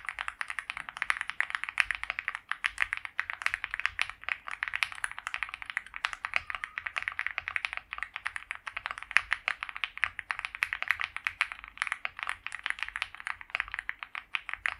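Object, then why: Mechanical keyboard with plastic keycaps. Both hands type continuously on a white compact mechanical keyboard with PBT doubleshot keycaps, a polycarbonate plate and a foam-filled plastic case, resting on a felt mat. A steady, rapid stream of short, crisp clacks centered around 2 kHz with bright edges. Each keystroke dies away almost instantly.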